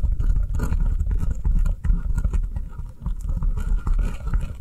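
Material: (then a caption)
Foam. Long nails tap quickly on the top and sides of a round, solid, avocado-shaped foam kitchen sponge with an avocado-print top, lying on a table. The result is a fast, dense patter of soft, muffled thuds, almost entirely low in pitch, with each tap dying away almost at once.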